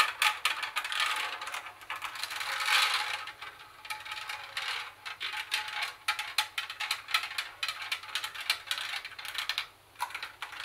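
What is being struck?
Plastic CD and cassette boombox.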